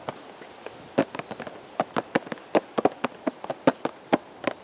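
A hollow purple and white cardboard teacake box, held at the chest, is tapped with the fingertips of both hands. Nineteen short, dry, hollow taps come in an irregular rhythm, each stopping almost at once with a papery midrange knock and no ring.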